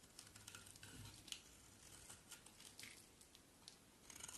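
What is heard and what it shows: A solid white bar of soap, held in the hand, is carved with a utility knife blade. Quiet, crisp scraping and shaving sounds come with short, bright ticks and crackles as the blade cuts through the soap, with little low-end body.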